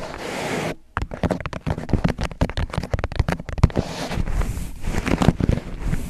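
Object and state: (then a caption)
Paper cup. An empty white disposable paper cup with a drawn face sits upside down over the microphone while fingertips tap and scratch its thin, hollow sides. A steady scratchy rustle stops briefly near the one-second mark, then gives way to a dense run of quick, crackling taps and scrapes. The taps land as low, hollow thumps layered with dry friction noise.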